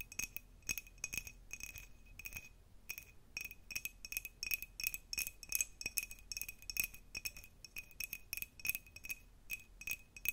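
An empty, hollow, clear cut glass jar with a diamond pattern is tapped and scratched close up with the long nails of both hands. The result is a quick stream of bright, clicky glass taps with a faint ringing tone near 2.5 kHz that dies away almost at once, mixed with soft scratching.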